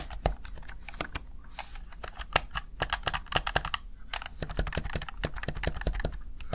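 A small, hollow, backlit plastic Razer Tartarus Chroma gaming keypad has its keys pressed rapidly with fingertips and long nails. The result is a quick run of sharp, bright, dry plastic clicks and taps, some clustered and some spaced, over a faint low background rumble.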